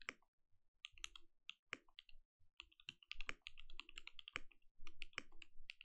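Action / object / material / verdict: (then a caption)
tap / mechanical keyboard with plastic keycaps / plastic / none. A compact mechanical keyboard with plastic keycaps and a lit translucent case is typed on continuously with the fingertips of both hands. Quick, short, bright clacks come in an irregular stream, with a soft low thump under each stroke and brief pauses between bursts.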